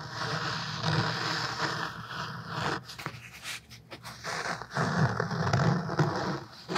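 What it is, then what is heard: Cloth-covered hardcover book. A thick black cloth-covered hardcover book is held upright in both hands while fingertips and nails tap and scratch its front cover. Dense, gritty scratching with soft low thumps is heard, briefly thinning into quieter taps midway before the steady scratching returns.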